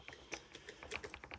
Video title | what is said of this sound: Mortice Matters: Picking the Union Strongbolt based on feedback | up until that point there where it's tapping I didn't get any feedback from that lever at all